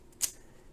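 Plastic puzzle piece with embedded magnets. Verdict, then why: Loose. A plastic piece from a magnetic Tetris-style puzzle cube is shaken, and its magnets, crimped into slots rather than glued, move loosely inside. A single short, bright click is heard, mostly high-frequency, that dies away almost at once over a quiet background. This rattle is normal for the piece, since the magnets are not glued in.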